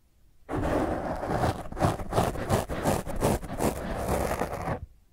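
Long fingernails of one hand scratch a black foam microphone windscreen, making a rough, crackly scraping. The sound runs continuously for about four seconds in irregular, surging strokes, heavy in the low end, then stops abruptly.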